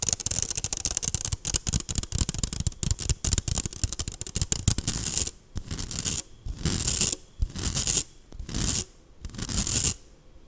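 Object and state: Stainless steel mesh strainer.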